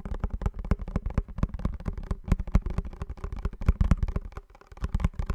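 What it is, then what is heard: Cardboard box. Fingernails tap rapidly on a small blue printed cardboard perfume box held in both hands close to the mic. The taps are short, dull and thumpy, with most of their weight in the low end and almost no ring. They come in an uneven, continuous patter.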